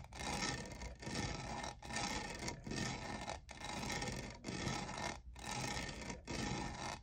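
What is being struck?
Plastic studded tumbler.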